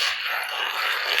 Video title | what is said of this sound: STICKIT - FLOOR TILE REPAIR | that tile is actually popped away from the adhesive